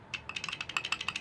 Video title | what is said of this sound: 240sx Battery Light Issues | it started making this flap sound, which is not supposed to be like that. It's supposed to be a straight solid post